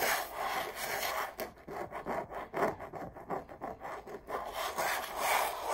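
Long purple acrylic nails scratch and trace over the textured surface of a large red rose canvas print hanging on a wall, a hollow-backed canvas stretched on a frame. Dry, papery rubbing with a mid-range scratchy tone builds into a run of short, uneven scraping strokes in the middle, then returns to steady, brighter rubbing.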